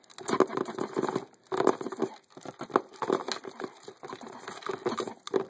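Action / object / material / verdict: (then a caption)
tap / hard plastic poker chip case / plastic / none. Fingers and nails tap fast along the top edge of the lid of a transparent hard plastic poker chip case full of poker chips. The result is quick, dry, crinkly plastic clicks with a hollow mid-range tone and almost no ring, coming in rapid bursts separated by brief pauses.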